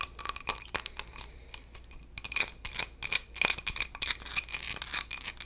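A small textured glass bowl is scratched and tapped in quick, irregular bursts. The sound is bright and crisp, almost all high-frequency, with a faint ringing tone near 2.4 kHz that dies away almost at once after each contact.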